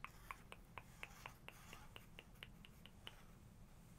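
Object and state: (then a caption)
Glossy photo book page tapped with fingernails. Long nails trace and tap along the glossy paper of an open hardcover photography book, on a page printed with a man in a hat. About 14 quick, crisp clicks come in a loose rhythm over the first three seconds, each bright with almost no ring, over a soft low background rumble. The tapping then stops, leaving only faint hiss.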